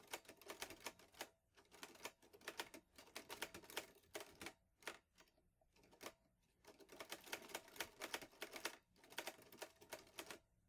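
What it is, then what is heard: Metal portable typewriter. A vintage teal metal portable Underwood Olivetti Lettera 22 typewriter with paper loaded is typed on steadily with fingertips. Bursts of crisp, bright key strikes clatter in quick runs, broken by short pauses and a longer lull in the middle. Each strike is short and dry, with little low end.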